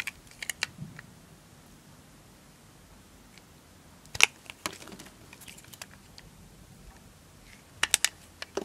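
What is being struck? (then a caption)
Bar of soap cut with a knife. A knife blade cuts slices and chips off a green and white striped solid bar of dry soap. Sharp, dry, bright crunchy clicks come in three short clusters, at the start, in the middle and at the end, separated by quiet pauses. Each snap dies away almost at once.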